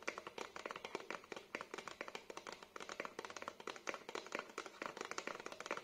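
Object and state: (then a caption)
Cardboard packaging card. Fingertips and nails tap and scratch the surface of a small, thin, flat black printed cardboard hanging card with a hang hole, held in both hands. The result is a rapid, steady series of short, dry, crisp taps with light scratchy texture and almost no ring or low end.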